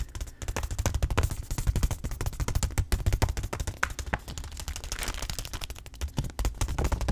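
A white stand-up granola pouch of laminated paper and plastic, with contents inside, is held in both hands and rapidly tapped with the fingertips on its back panel. The result is a dense, continuous run of quick, dull, low thumps that lasts the whole clip.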